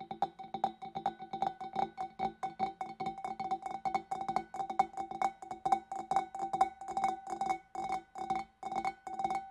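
Long dark nails tap rapidly on the rim and shoulder of a large, clear, empty, hollow glass fish bowl, producing dozens of quick, irregular clinking taps. Each tap rings with a clear glassy tone near 770 Hz and fades almost instantly, with a faint high shimmer above it.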